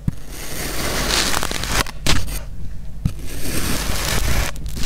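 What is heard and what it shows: A black speckled metal knife, with a clip mic attached to it, slices curved cuts across a small solid purple kinetic sand half-dome with holes in it, scraping through the sand. The result is a steady, close, crackly and gritty scrape with a heavy low rumble, broken by brief pauses between cuts before the next stroke starts.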